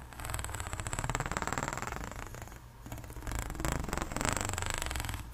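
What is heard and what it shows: A long, extended pink ribbed hollow plastic pop tube is scratched along its ridges with long nails and fingertips. The result is a fast, ratcheting rasp of dense, rapid clicks over a low hum, with a faint steady high whine, swelling and easing as the strokes move along the tube.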